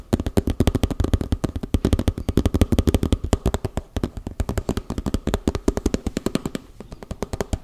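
A small, hollow round cosmetic tub, likely plastic, with a red side and a printed lid, is held up and rapidly tapped and scratched with fingertips and nails on its lid and side. About 65 quick, dry, low-pitched taps with almost no ring run in fast bursts, with faint scratching between them.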